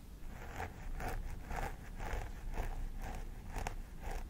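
Long nails on both hands scratch the scalp near the part of a life-size plastic doll head with synthetic hair. The result is a steady rhythm of crisp, rasping scratch strokes with bright, hissy edges over a constant low rumble.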